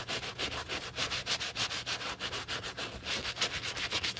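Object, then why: Rubber shoe sole scrubbed with a bristle brush. A black treaded rubber shoe sole covered in cleaning foam is scrubbed vigorously with a wooden-handled bristle brush by gloved hands. Quick back-and-forth bristle strokes, about 15 of them, give bright, hissy scratching at a steady, fast pace.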